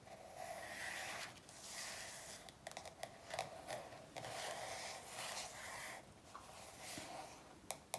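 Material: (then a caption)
Glossy paper. Long nails on both hands tap and rub across the glossy paper back cover of a paperback workbook. Soft, bright scratchy rubbing runs nearly throughout, broken by a few sharp, quick taps.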